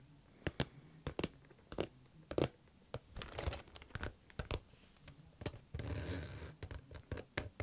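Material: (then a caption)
Plastic. Fingernails tap and lightly scratch a pink plastic or vinyl zip case with a floral print, held close to the microphone. Sharp crinkly taps come in quick irregular bursts, with short stretches of softer rustling scratches between them.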